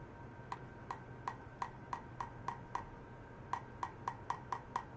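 A stainless steel wire is struck repeatedly to check how ultrasonic vibration propagates through it. Fifteen short, sharp metallic ticks sound at an uneven pace, each with a bright tone near 1 kHz and almost no ring, over a faint low hum, with a brief pause in the middle.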